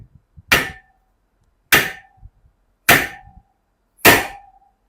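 An NTN steel wheel bearing is tapped down into the hub of a Hyper 2020 wheel with a drift, seating the second bearing from the other side. Four sharp metallic strikes sound at a steady pace, each ringing briefly around 1.8 kHz, with a change in the tone showing the bearing is seating properly.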